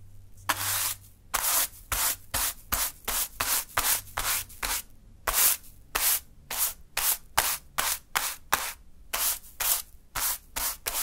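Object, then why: Fine sand pile swept with a natural-fiber broom. A small natural-fiber broom sweeps into a small heap of fine pink sand on a dark surface. The clip has 23 separate brushing strokes, each a short, bright, airy scratch with little low end. There are quiet gaps between strokes.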